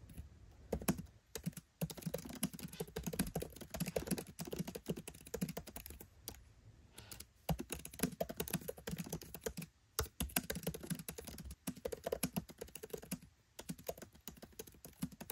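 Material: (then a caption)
Plastic. Fingertips type steadily on a MacBook Pro 13 keyboard with black plastic keycaps set in an aluminium body. The result is a fast run of short, dry key taps with a soft low-mid thump and light clicky edges. A few brief pauses break the typing.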